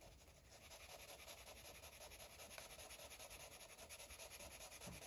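A green felt-tip marker is rubbed in short, quick strokes over a paper coloring book page resting on a soft surface. The sound is a soft, bright, scratchy rubbing that pulses steadily with each stroke and stays at an even, quiet level throughout.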